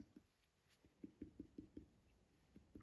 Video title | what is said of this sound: Abdominal Physical Exam - Jenny Noland, MS, CNS | see right now it sounds Hollow